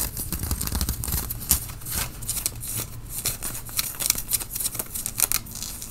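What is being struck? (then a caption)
Cotton t-shirt fabric. Fingernails scratch the sleeve and front of a worn grey tie-dye cotton t-shirt, and the shirt is also grasped at the shoulders. Dense, bright, scratchy rasps come in quick uneven bursts over a low, rumbling handling noise.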